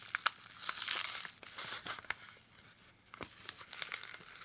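Gloved fingertips press, fold and crinkle a hand-sized yellow kraft-paper padded (bubble-lined) mailer with contents inside on a wooden desk, possibly starting to tear toward the end. Bright, dry crinkling and sharp little crackles come in quick bursts, with a denser rustling swell near the one-second mark and quieter, scattered snaps afterward.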